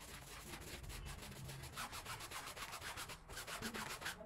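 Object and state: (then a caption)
Wet woven rug being scrubbed. A long-handled green push broom with stiff bristles scrubs a small, wet, soapy woven rug on the floor in back-and-forth strokes. It makes a steady, rough, hissing scrub with a bright, wet edge, rising and falling irregularly with each quick stroke.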